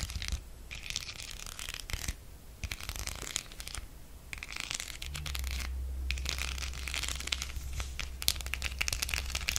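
Long acrylic nails scratch across a flat octagonal spider-web coaster covered in small silver and black beads, held up in the air. Bursts of bright, crackling scratching rattle over the beads with brief pauses between strokes, over a steady low hum.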